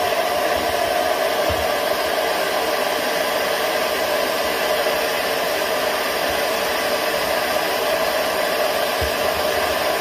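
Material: Nothing is struck.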